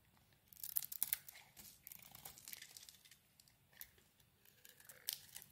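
A knife blade shaves the coating off a solid oval soap bar, dark purple outside and green inside, held in the hand. Quiet, crisp scraping and flaking sounds come in quick bright bursts, with the sharpest cuts near the start and another near the end, and almost no low-end body.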